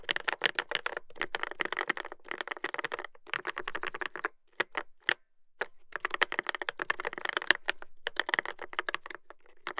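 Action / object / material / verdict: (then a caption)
tap / mechanical keyboard with plastic keycaps and metal plate / plastic / none. Fingertips type continuously on a Dolphin 2021 mechanical keyboard with a brass plate and plastic keycaps, producing rapid, bright clacks with a strong midrange click and almost no ring. Bursts of fast typing alternate with brief pauses and a few isolated keystrokes.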